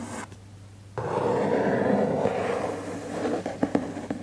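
Fingertips trace and rub over the laminated cardboard cover of a closed, large children's hardcover book lying on a desk, and the book is slightly rotated. After a quiet, low-humming start, a steady, dry scratchy rubbing begins about a second in and continues. It ends with a few sharper scuffs and taps.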